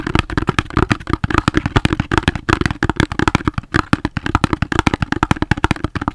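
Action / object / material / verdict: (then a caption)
tap / cardboard soap box / cardboard / none. A cardboard soap box is tapped rapidly with the fingers, giving around forty quick, dull, hollow taps in an uneven rhythm. Each tap is short and dry, with most of its weight in the low range and a muted body tone, and very little brightness.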